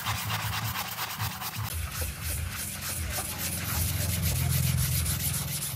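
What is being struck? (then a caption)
Wet synthetic-pile doormat scrubbed with a bristle brush. A gloved hand scrubs a small grey printed doormat rug with a low synthetic pile, soaked and foamy, using a round bristle brush. Quick, fairly regular back-and-forth strokes make a bright, wet rubbing hiss over a steady low rumble, growing slightly louder toward the end.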